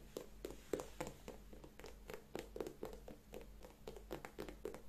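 A single empty white leather sneaker with a rubber sole, held in both hands, is scratched and tapped on its upper and sole with long manicured nails. The result is a quick, irregular run of dry, short taps with soft scratching and brief clicks over a low, steady hum.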